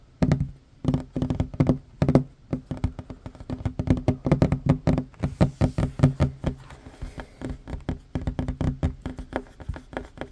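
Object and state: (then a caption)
Wooden table. Short fingernails and fingertips tap fast on a large, solid, worn wooden tabletop. The taps are dull, low knocks that die away almost at once, coming in quick bursts and rolling runs with faint brighter clicks from the nails.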